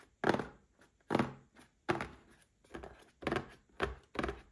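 A small red cardboard gift box standing upright is tapped with fingertips and short nails, giving a series of dull, hollow thunks at an uneven pace. Each tap is soft and papery, with a mid-range body and almost no ring afterward.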